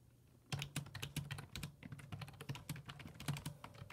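Fingertips type on the hollow plastic keys of a black full-size plastic computer keyboard resting on a wooden desk. After a brief quiet start, rapid, irregular clicking taps follow one another with short, dry decays over a faint low steady hum.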